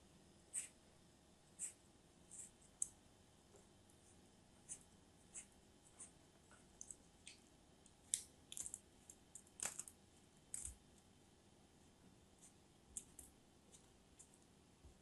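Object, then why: Block of molded kinetic sand. A thin dark knife blade cuts and scores a small, solid purple-brown block of molded kinetic sand held in one hand into a grid, and then long-nailed fingers crumble the block. Quiet, sparse, bright crisp scratches and crunchy clicks come in short bursts over a faint steady hiss, with each sound cutting off almost instantly.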